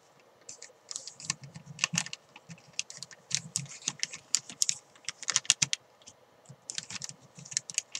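A thin clear plastic bag holding a white chalk ball is scratched and crinkled with fingernails, then lifted and handled. Bright, dry crackles and scratches come in quick irregular bursts over a faint soft rustle, each dying away almost instantly.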